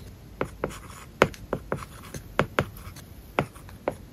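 A plastic stylus writes short strokes on an iPad screen covered with a matte, paper-like plastic film. Quick, dry scratching ticks stand out one after another over a quiet background, each stroke dying away almost at once.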